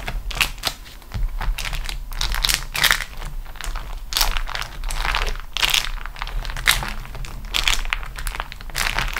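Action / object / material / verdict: scrape / beeswax-coated cotton food wrap sheet / waxed cotton / none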